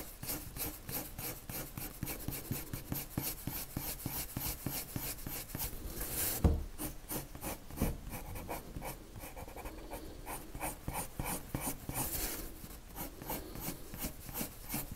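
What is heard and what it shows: A lavender colored pencil rubs quick back-and-forth strokes onto a white paper sheet, making a steady rhythmic scratching with bright, papery bursts. A single louder scrape stands out partway through before the even strokes continue.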